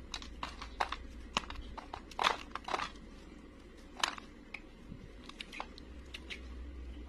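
A utility knife blade scrapes brittle curls and flakes off a solid, dry, beige round bar of soap held in the hand. It makes a rapid series of short, crisp, crackling scrapes with bright, dry edges and almost no ring, over a faint steady low hum.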